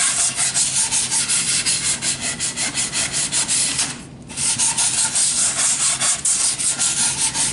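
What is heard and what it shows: A long, solid, unfinished wooden board held upright is rubbed along its face with sandpaper on a flat sanding block held in the hand. Rhythmic, bright, scratchy strokes repeat steadily, with a short pause near the middle before the sanding resumes.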